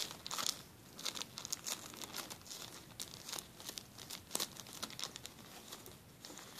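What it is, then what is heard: Plastic zip-lock bag. A flat, clear plastic zip-lock bag lies on a table while fingertips rub and lift its edge, making quiet, continuous crinkling and crackling. The sound is dense and bright, with many short, sharp crackles clustered up high and almost nothing low.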